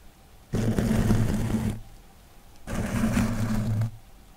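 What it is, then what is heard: Kitchen sponge with scouring pad, scratched. A hand-sized, soft rectangular kitchen sponge of yellow foam with a green abrasive scouring layer is held in one hand close to the microphone and scratched or squeezed with the fingertips. Two sustained bursts of dense, rough scratching and crinkling rise sharply, each lasting a bit over a second, separated by a short quiet gap. A strong low rumble sits under a bright, hissy texture.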